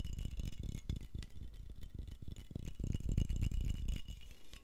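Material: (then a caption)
Glass. A medium glass jar with a metal screw lid, hollow and mostly empty, is held in both hands, tilted and shaken. It gives a steady run of dull, low rattles about four times a second in an uneven rhythm, each short and quickly damped, with a faint bright shimmer above.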